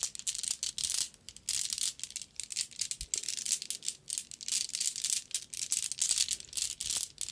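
A white mesh bag full of small solid glass marbles is bounced on an open palm, then dangled and shaken by its string so the marbles rattle against each other. The result is a bright, dry clicking clatter in quick repeated bursts, with short decays and almost no low end.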